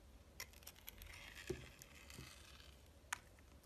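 A metal box-cutter blade slices layers from a solid translucent red glycerin soap bar with a red glitter coating. Sharp, bright crackling clicks and faint scraping rise over a low, quiet background, with one duller, lower knock midway through.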